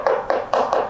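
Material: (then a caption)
Nylon. Four knocks on the hard nylon underside of a Pocha office chair armrest, beneath its soft polyurethane top. Each knock gives a short, hollow plastic click centered in the mid range around 500 Hz and fades quickly.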